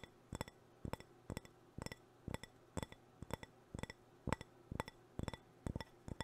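Fingernails tap and scratch the outer surface of a hollow, apparently empty white ceramic cup or planter held close. Quick clusters of two or three bright, clinking clicks come roughly every half second, each dying away almost at once. A steady low hum sits underneath.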